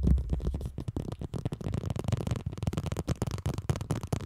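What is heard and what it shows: A smartphone in a black plastic case lies flat on a microphone while two people tap it with long nails along the back and edges. The result is a rapid, uneven stream of short, dull, low thuds with a boomy bottom end and very little brightness, each tap dying away almost at once.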